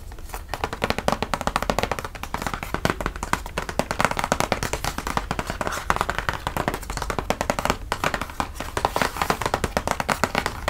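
Fingertips and medium-length nails tap and lightly scratch across the lid of a flat, hollow, printed cardboard gift box, which looks like a Baileys chocolate box and is held against the body. The result is a steady stream of rapid, dry, hollow taps with very little ring, mixed with soft scratchy rustling.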